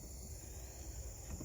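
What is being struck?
Nothing is struck.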